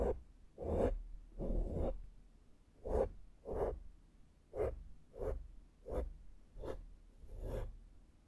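A small, flat synthetic makeup brush held in the fingertips strokes the soft, porous black foam windscreen of a handheld microphone. Nine soft, breathy swishes come at an uneven pace, each a muffled rustle centred in the low-mids with a low rumble underneath and almost no brightness.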